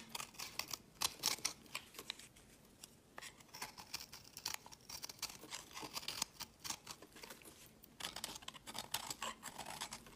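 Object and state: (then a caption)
Soap bar carved with a blade. A solid pinkish marbled soap bar with blue flecks is held in the fingers while a metal blade scrapes and carves crumbly pieces from it. The result is a quiet run of dense, bright, crisp scraping and crackling clicks with short bursts and pauses.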